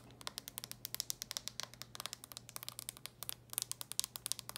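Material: Plastic.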